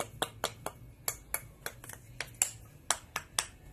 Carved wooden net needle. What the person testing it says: It doesn't have a thud to it. Sounds thin.